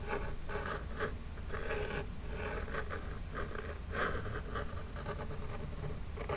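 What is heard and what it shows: Long jeweled nails scratch and rub across the front of a small, flat, hollow printed Birchbox cardboard box. Dry, papery rasping strokes come in short bursts with a midrange hollow tone, over a steady low rumble throughout.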